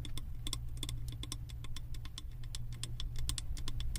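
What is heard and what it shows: Long acrylic nails tap rapidly on the side of a large glass candle jar filled with solid wax and printed with house designs, held in the hands. Quick, bright clicking taps sound over a steady low hum.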